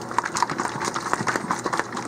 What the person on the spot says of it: hear that clanking in there that's that agitator